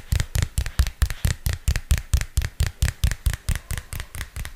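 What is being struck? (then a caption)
Spiral notebook with plastic cover. A purple spiral-bound notebook with a textured plastic cover is held close to the mic and tapped with fingernails. About 21 quick, dry taps land at a steady pace, each a short low thump with a bright click on top.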